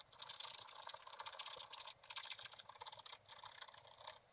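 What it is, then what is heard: Scratch-art paper being scratched. A wooden stylus scratches the black coated page of a spiral-bound scratch-art book lying flat, making repeated short strokes over a balloon shape while the book is held steady. The result is a quiet, dry, bright scratching with rapid gritty bursts and almost no low end.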